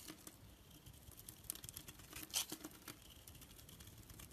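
A black blade scrapes and shaves thin flakes off a solid, palm-sized orange bar of bath soap held in the hand. The sound is a quiet, dry, crinkly scraping with bright, rustling peaks, and the loudest shave comes about halfway through.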